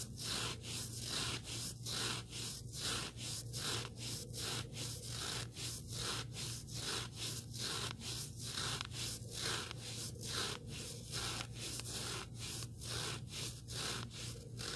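Fingertips scratch and rub along the surface of a small, solid black abrasive sanding sponge block. The strokes are dry, bright, and rasping, repeating in a steady back-and-forth rhythm of about one stroke per second over a constant low hum.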